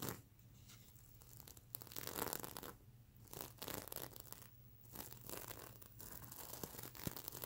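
Long nails scratch across the plastic sequin fabric of a soft, stuffed mermaid unicorn plush pillow. The result is waves of bright, crackly rasping and clicking that come in bursts, with short quieter pauses between strokes over a faint low hum.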